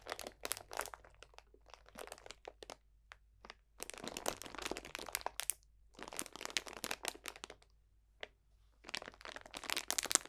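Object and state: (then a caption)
Plastic bag of dried potpourri. A clear cellophane bag full of dried potpourri botanicals is squeezed and crunched with both hands. Bright, dense crinkling and crackling comes in several bursts separated by short quiet gaps, with sharp snaps scattered throughout.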